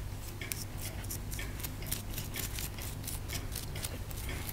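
A pointed wooden stick scrapes the plaster around a partly exposed toy bone in a solid plaster block held up close. It makes a quick series of short, bright, gritty scratches over a steady low hum.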